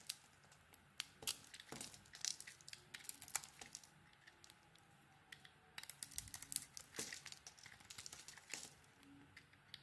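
A solid white soap bar with a pink coating is shaved and carved with a metal blade, and chunks fall away. Quiet, bright scraping and crisp cracking clicks come in uneven bursts, with short pauses between strokes.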